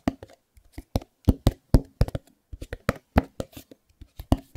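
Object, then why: Small cardboard box. Fingertips tap and scratch the corners and sides of a small white cardboard Chromecast box held close. About 16 short, dry taps come in an irregular rhythm. They are heavy in low thump with faint scratchy texture and almost no ring between them.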